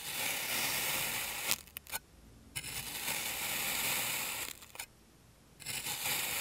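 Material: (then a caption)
Kinetic sand. A clear plastic serrated knife slices layers from a solid purple kinetic sand rose, making a bright, dense gritty scraping and rustling. The cuts run in three long stretches, with brief ticks and near-silent pauses between them.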